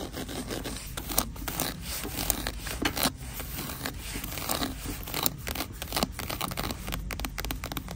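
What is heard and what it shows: Long green nails tap and scratch a small, flat, cream embossed faux leather wallet held over a shelf rack. Quick, dry taps mix with bright scraping and scratching strokes, heard over a steady low rumble.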